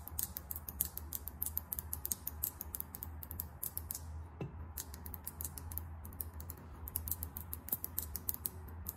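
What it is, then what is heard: Lip gloss tube with metallic cap. Long acrylic nails tap fast on a small, filled lip gloss tube with a chrome metallic cap. A rapid run of sharp, bright clicks dies out instantly, briefly thinning near the middle, over a steady low hum.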